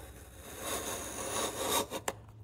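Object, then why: Softwood block under a steel chisel. A steel chisel held in the fingers pares and scrapes the top edge of a solid, hand-sized, light-coloured softwood block resting on a wooden workbench among shavings. A steady, bright rasping scrape swells for almost two seconds, then breaks off and ends with one sharp, short click.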